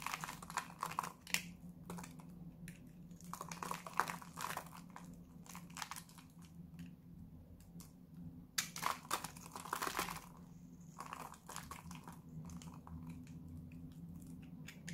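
A hand-sized solid pink bar of dry Lux soap, held in the hand, is shaved with a metal utility-knife blade, and pink curls pile up. Crisp, dry scraping and crinkling bursts come in clusters, loudest near the start and again around the middle, over a steady low hum.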